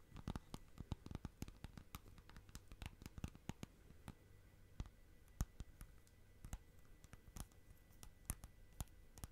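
Long nails tap and scratch the lid and rim of a small, round, clear plastic tub with a lid, full of bubbly slime. The result is a quiet, irregular stream of sharp, dry clicks and taps that die away almost instantly, mixed with faint scratching over a low, soft rumble.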